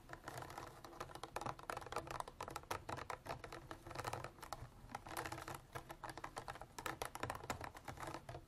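Long black artificial nails tap rapidly and unevenly on the sides of a clear ridged plastic water bottle with an orange cap, partly filled with water and standing on a table. The result is a dense patter of short, dry plastic clicks, centered in the mid range around 1 kHz with a faint low hum underneath.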